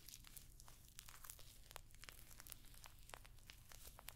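A rectangular, hollow clutch purse covered in rows of small rose-gold metallic pyramid studs is held up close and scratched and tapped across the studs with long nails. Quiet, dense clicking and crinkly scraping with short, bright ticks runs over a steady low rumble, each tick stopping almost at once.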